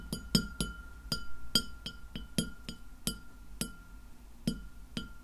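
Long nails on both hands tap the surface of a white glass plate lying flat behind the recorder, letting it ring. Thirteen quick, bright clinks sound at an uneven pace over a faint low rumble and a steady thin tone. Each clink fades quickly.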